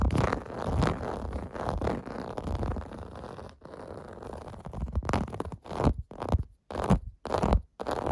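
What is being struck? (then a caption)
Plastic bath mat with domed bumps. Fingernails scratch over the small domed bumps of a clear-blue plastic bath mat lying flat, making a dense, low, rumbling scratch. It runs almost continuously at first, then breaks into short, separate bursts with brief silences between them.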